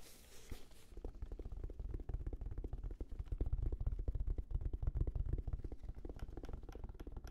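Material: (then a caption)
Fabric. A hand-sized, hollow, black, round, fabric-covered semi-rigid Sony headphone case is held in front of the face and the microphones and tapped with the fingertips. After a brief bright hiss, a rapid, uneven stream of dull, deep thumps follows, each very short and dry with almost no ring. The tapping stays low and muffled throughout.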